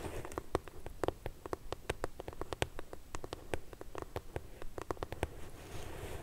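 Long purple nails tap and scratch the side panel of a medium pink corrugated cardboard shipping box held upright. There is a steady run of quick, dry, hollow taps with a low body, with soft scratchy rustling between them. Each tap stops short with almost no ring.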